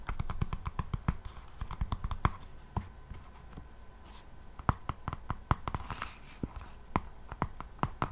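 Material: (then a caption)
Faux leather. Long painted nails on both hands scratch and tap the solid back of an A5-size hardcover notebook with a black textured faux leather cover, held close to the mic. Quick, dry clicks and scratches come in a dense run, thin out in the middle, then pick up again. The sound is weighted low, with sharp transients that die away almost instantly.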